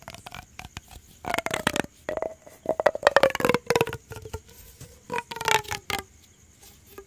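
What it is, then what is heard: Plastic corrugated pop tube. A yellow ribbed hollow plastic pop tube is stretched, bent and scratched with fingers and nails. Its ridges give off fast, irregular bursts of dry clicking and crackling, with a faint whistling tone near 550 Hz that slides slightly downward during several bursts.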